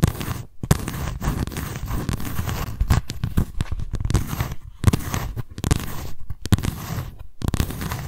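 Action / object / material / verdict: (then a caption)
scrape / paper notebook with cardboard cover / cardboard / none. Long nails scratch across the raised lettering of a white embossed cardboard cover on a paper notebook, held up close. The result is a dense, rough scratching with a low, papery rumble, broken by several brief pauses between bursts of quick strokes.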